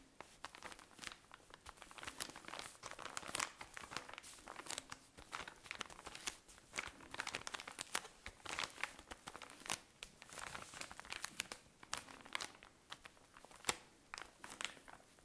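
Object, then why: Cotton pad pack in thin plastic wrapping. A tall cylinder of cotton pads in thin plastic wrapping is squeezed and crinkled with fingernails. The result is a continuous stream of bright, crisp crinkles and sharp crackling snaps with almost no low end. Each snap cuts off almost immediately.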